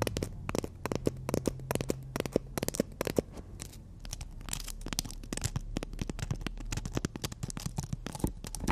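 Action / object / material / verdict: scrape / emery board nail file tapped and scratched by fingernails / emery board / none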